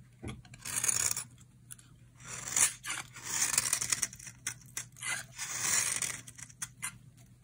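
A utility knife blade scrapes and shaves the surface of a solid, dry orange bar of soap held in the hand. Bright, dry rasping strokes come in uneven bursts, with crisp scratchy detail in the high range, very little low end and no ringing after each stroke.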